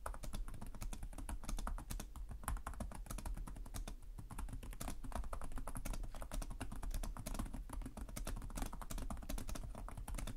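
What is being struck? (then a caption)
Laptop keyboard with plastic keys. Fingertips type steadily on the plastic keys of a black laptop keyboard, producing a fast, continuous stream of light, short clicks and taps. The keystrokes sit over a constant low hum that carries most of the sound's energy, and there is a brief lull near the four-second mark before the typing resumes.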